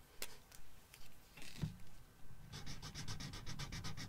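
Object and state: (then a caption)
Felt-tip marker colouring on paper. A red felt-tip marker rubs in strokes across a paper coloring book page. A few scattered scratchy strokes come first, then a quicker run of short, bright, papery rubs. The strokes have no ring.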